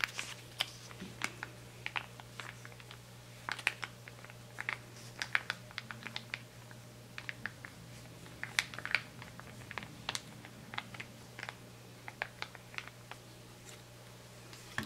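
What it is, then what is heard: Full plastic foil sample sachet. Fingers and nails tap, crinkle and scratch the surface of a small, flat, white plastic-foil conditioner sample packet that is full and held in both hands. Quick, dry, bright ticks and crinkles with almost no ring come in a scattered stream over a quiet background with a low steady hum.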